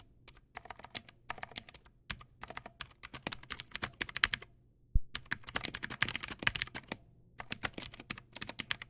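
Fingertips type rapidly on a backlit Teamwolf Zhuque+ X08 mechanical keyboard with white plastic keycaps and clicky blue switches. The result is dense bursts of sharp, bright clicks with short pauses between runs, over a faint steady low hum.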